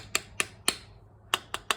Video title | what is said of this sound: ep. 3: saving Amanda self propelled Murray mower that won't run, cleaning the fuel system | Now it's tight. See that? Changing the sound? That's where it should be.